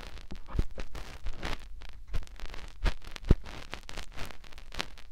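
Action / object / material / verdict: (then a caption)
scrape / silicone microphone ear rubbed by fingertips / silicone / none. Fingertips rub and press into the ear canal of a white silicone ear on a binaural microphone. The result is close, muffled rustling and scraping with soft low thumps, as dense bursts of friction rise and fall over the clip.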